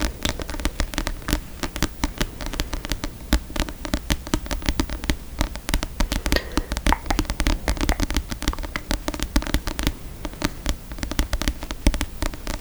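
A book is tapped rapidly and continuously with quick, dry taps that die away almost instantly, over a steady low hum. The taps come in dense, uneven bursts with short pauses throughout.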